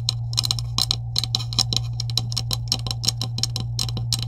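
Long acrylic nails tap rapidly on the top of a green hollow plastic PVC pipe with couplings resting on a table. They make quick, bright, dry clicks that die away almost instantly, over a steady low hum.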